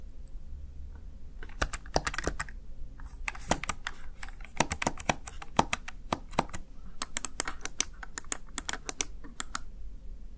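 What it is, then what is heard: Plastic gaming keypad. A small, hollow, backlit plastic Razer Tartarus Chroma gaming keypad has its keys tapped with fingertips and long nails. The result is a quick, irregular run of sharp, bright plastic clicks and clacks that die away instantly over a faint low hum.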